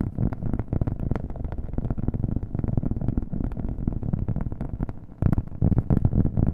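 A round, flat cork coaster held in a hand is tapped rapidly with fingernails, with an echo effect on the audio. The result is a dense stream of dull, low, woody taps with almost no high end; the taps dip briefly near the five-second mark, then return louder.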